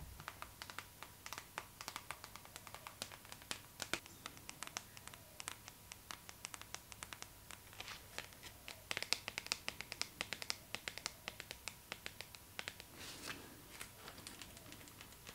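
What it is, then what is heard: Glossy paper magazine. Long nails scratch and tap the cover of a glossy paper magazine, first lying flat and then held up. The result is a quiet, crisp stream of dozens of sharp clicking taps mixed with bright, papery scratching, mostly high-pitched with almost no low end or ring.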